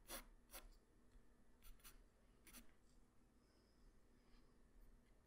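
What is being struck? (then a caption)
Graphite pencil on a paper sheet. A graphite pencil tip draws strokes across a flat white paper sheet, making five short, bright scratching strokes. Softer rubbing and a faint low hum fill the quiet gaps between them.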